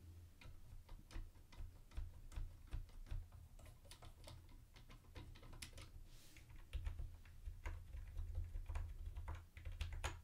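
A mint-green plastic retro keyboard with round white plastic keycaps is tapped by fingertips on the space bar and lower-right keys. The result is a quiet, irregular run of short, bright plastic clicks over a steady low hum.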